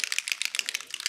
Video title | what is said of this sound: CraftFancy (Alcohol Pearls Butterfly Card Kit) for OOAK 9.11.2021 Event | you want to shake this up hear that rattle